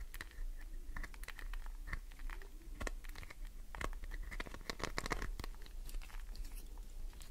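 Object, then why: Glycerin soap bar. Long nails tap fast on the top surface of a solid green glycerin soap bar, like typing. The sound is a quick, dense run of crisp clicks and scratchy taps with a bright edge, over a steady low rumble.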